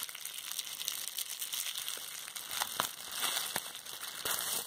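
A small roll of clear plastic bubble wrap with hollow air bubbles is held and squeezed in hands with long red-painted nails. A steady bright crinkling and crushing runs throughout, with short sharp pops scattered through it.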